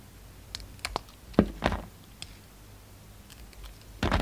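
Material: Soap.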